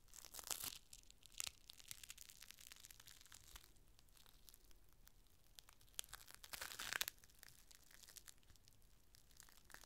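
A thin, clear plastic rain cover is held up and unfolded, and fingers crinkle and stretch the sheet before laying it flat. Bright, crisp crinkling and tearing-like rustles run throughout, with louder bursts near the start, around one and a half seconds and around seven seconds, between quieter, sparse crackles.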